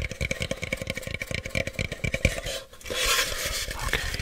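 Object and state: Cardboard box.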